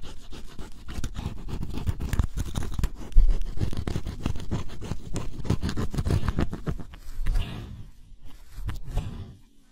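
A pointed wooden stick scratches the black scratch-off coating on cardboard jigsaw puzzle pieces, revealing green color underneath. Rapid, close-up scraping strokes make a dense, dry, low rasp. The strokes thin out into softer scratches with pauses near the end.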